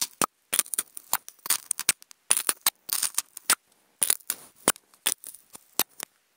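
Wooden toothpicks scratch across a hollow, octagonal white polystyrene foam food container, producing a rapid series of bright, dry, squeaky scrapes and clicks. Each stroke is short and stops almost at once, with brief silences between the bursts.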